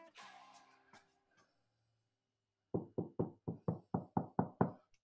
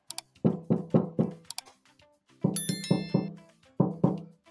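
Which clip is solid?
The first.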